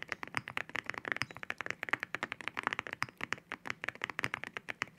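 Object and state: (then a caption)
Mechanical keyboard with ceramic keycaps. Fingertips type on a mechanical keyboard with ceramic keycaps, heard close up from low behind the hands. About 35 quick, dry, bright clacks centered around 2 kHz follow one another in a steady flow, each dying away almost instantly with very little low end.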